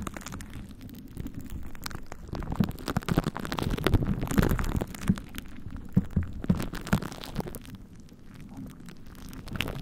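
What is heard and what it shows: A plastic glue stick is rubbed over and pressed onto plastic cling wrap covering a microphone head coated in purple glue, in repeated sticky strokes. The result is a dense, irregular, low and muffled crackling rub with sticky pops and tacky peeling sounds. It grows louder and poppier in the middle before easing off.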